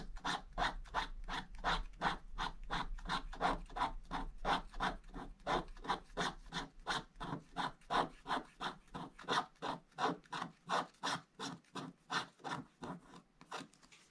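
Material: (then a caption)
Waxed paper. A wooden stick scratches repeatedly along the bottom area of a flat scratch-art page in a book, a black wax coating over blue foil paper. About 46 short, dry rasping strokes follow each other in a steady rhythm. Each stroke has a bright, papery hiss and stops almost at once.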